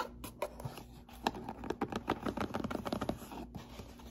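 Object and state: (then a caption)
Cardboard box being scratched. A closed, hollow brown corrugated cardboard box with a white label and a hand slot is rubbed and scratched with fingertips and nails, and briefly tilted. Dry, papery scratching and scraping strokes come in quick, irregular bursts, densest in the middle of the clip. A soft hollow body sits under the strokes, and the sound is quieter at the start and end.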